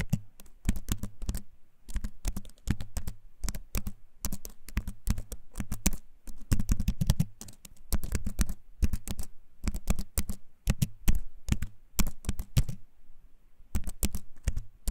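A compact keyboard with a wooden frame and plastic keys is held up close and typed on with fingertips, giving rapid bursts of short, clicky keycap taps. The taps are dry and close, with a deep low thump under bright clicks and brief pauses between runs.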